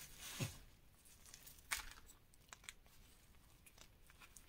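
Bare fingers and fingertips crush and rub a dry heap of reformed gym chalk powder, dyed green and pink with small chunks. Crisp, crunchy crumbling comes in short bright crackles, with a louder crunch near the start and another just before the two-second mark, then fades to soft, scattered crinkling.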